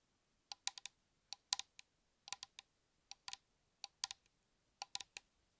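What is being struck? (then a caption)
Metal aerosol shaving cream can. Light, sharp taps on a metal shaving cream aerosol can. The taps form short, bright clicking bursts, often in quick pairs or triplets, with no ring after each one. Groups are spaced irregularly across the clip with quiet gaps between them.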